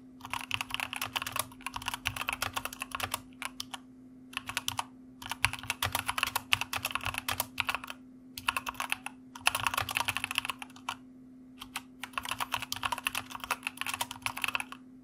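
Both hands' fingertips type on a white plastic mechanical computer keyboard, producing bright, crisp clacking keystrokes in rapid bursts separated by short pauses. A steady low hum runs underneath throughout.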